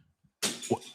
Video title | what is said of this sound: #Panthers NFL Draft LIVE Reactions & Analysis - Day 1 | that sounds like something kind of broke. Sound like glass.